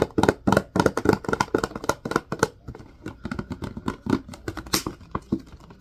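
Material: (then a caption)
Plastic. Fingertips and nails tap and scratch the sides and label of a large clear plastic Purell hand sanitizer bottle, partly full of green gel, with a white cap. Quick, irregular run of short, dry plastic clicks and light scratches. Louder and denser in the first half, softer later, with a few sharper taps near the end.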